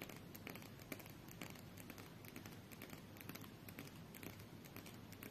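A small, solid stack of coated paper UNO cards is held in both hands while long nails tap and scratch the deck. Quiet, rapid crinkly clicks and scratchy crackles repeat throughout, with brief bright ticks over a faint low background hum.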